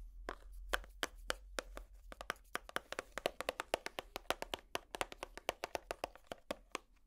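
A small, hollow, empty clear plastic compartment organizer box is held in the hand and tapped with long plastic finger picks. About 39 quick, sharp, hollow clicks land in an uneven, rapid rhythm, each bright and dry with almost no ring. A faint low rumble sits under the first couple of seconds.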